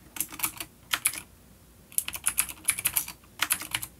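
Fingertips of both hands type on a full-size dark plastic vintage mechanical keyboard with clicky blue switches and grey keycaps, resting on a wooden desk. About twenty sharp, bright clicks come in quick bursts, with a short pause near the middle of the clip. Each click dies away almost at once.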